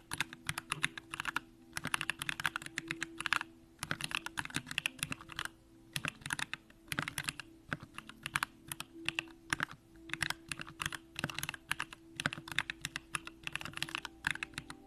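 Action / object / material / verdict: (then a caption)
tap / mechanical keyboard, aluminium case and plastic keycaps / aluminium, plastic / none. Continuous two-handed fingertip typing on a compact Bakeneko65 mechanical keyboard with an aluminum case, Durock lavender switches and pink plastic keycaps. Fast bursts of short, bright clicky keystrokes come in quick flurries separated by brief pauses. A faint steady low hum sits underneath.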